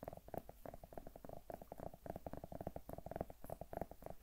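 Long nails tap and scratch rapidly across the skin of a large, solid, whole zucchini held in one hand. The result is a quiet, dense stream of short, dry taps with a hollow, knocking tone around 660 Hz, over a soft low rumble.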